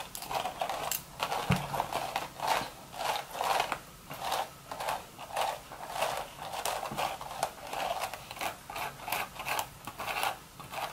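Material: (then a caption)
Straw. Long, sharp red nails scratch and scrape along the weave of a cream woven straw hat's hollow, empty crown. About twenty rhythmic, raspy strokes come through, each a dry crackling swell with a bright, hissy top and a papery midrange rustle. A single faint low knock is heard near the start.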